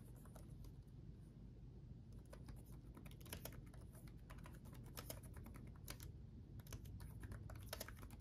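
Both hands type rapidly with their fingertips on the backlit chiclet keyboard of a black laptop with plastic keycaps on a solid chassis. The result is a quiet, steady stream of short, bright clicky taps over a constant low hum.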